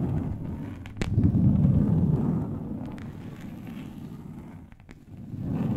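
Long acrylic nails scratch the surface of a large, flat, grey textured plastic board, a solid thin sheet, with the hands held close. The scratching is a dense, low, rumbling rasp with a sharp click near the start. It swells loudest early on, fades and dips briefly, then rises again at the end.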